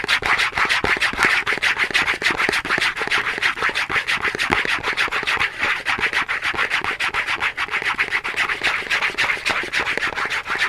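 Long nails scratch rapidly across a small Dove cardboard soap box held in both hands. The result is a steady, dense, papery rasp, bright and centered around 2 kHz, with almost no low end.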